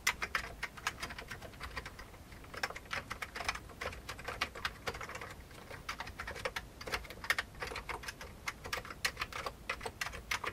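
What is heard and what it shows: Fingertips of both hands type steadily on the keycaps of a full-size old beige plastic computer keyboard with a hollow plastic case. The result is a continuous run of quick, bright, clicky keystrokes that stop short, with little low-end weight.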